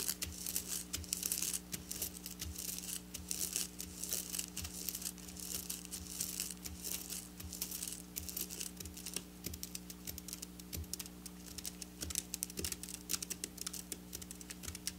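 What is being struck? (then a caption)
Sequin fabric scratched and tapped with fingernails. Long black nails on both hands rapidly scratch and tap silver sequin fabric lying on a table. The result is a dense, bright crinkling and rustling texture with quick clicking taps, over a faint, steady low hum.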